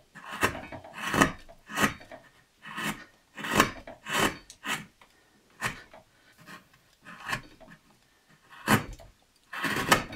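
A steel knife blade cuts and scrapes the top of a solid basswood carving blank held in hand, working the figure with repeated short strokes. Each stroke is a brief, dry, rasping scrape with a bright edge, separated by short pauses of near silence.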